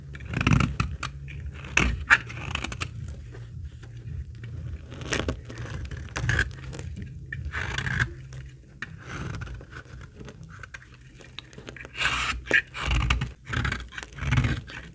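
A metal utility-knife blade shaves and scrapes flakes off a small, solid, translucent amber bar of old, dry laundry soap held in fingers with long pink nails. It makes repeated dry, crackling scrapes and short crisp cutting strokes over a low rumble, with louder bursts of shaving toward the end.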